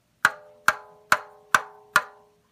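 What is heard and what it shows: A rubber balloon stretched tight over a container, with no dip left in its surface, is flicked five times. Each flick gives a short, bright, woody tap centered near 1.5 kHz. The higher tension raises the pitch.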